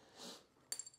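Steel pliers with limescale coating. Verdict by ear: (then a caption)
Calcified. Old steel pliers, magnet-fished from a well and coated in a limescale crust about a millimetre thick, are tapped on the coating. A soft, airy rustle comes first. Then three short, bright, glassy clinks follow, each high-pitched and dying away almost at once.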